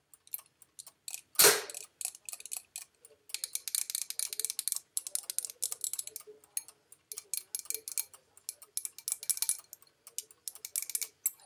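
Long nails tap the outside and rim of a small, empty white porcelain bowl held at chest height. The result is a steady run of quick, bright clicks in uneven bursts, with one louder strike early on that rings briefly. A faint tone around 414 Hz sits under the taps, and there is no low end.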